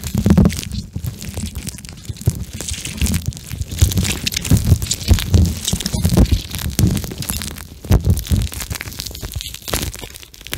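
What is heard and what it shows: A pink plastic eye mask filled with gel beads, soft and flexible, is held in both hands while fingertips squeeze and rub the beads close to the microphone. The result is a continuous, dense stream of soft crunching and squishing, heavy in low tones with occasional brighter clicks.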